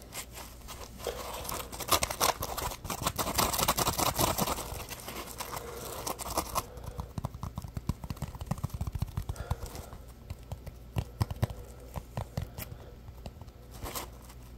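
A palm-sized yellow Scrub Daddy puppy sponge made of solid, porous, textured polymer foam is squeezed and scratched by fingertips close to the microphone. Dense crinkly rubbing and crunchy scratching come in quick, uneven bursts, busiest in the first half and then thinning into sparser, sharper scrapes.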